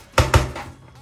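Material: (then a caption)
Thin metal. Knuckle-light taps on the panel of a Zalman S3 PC tower case give three low, dull knocks, the third softer, each with a brief faint ring. The case is sturdy and well assembled, with every part holding, though it rings a little because it is a fairly light tower rather than steel.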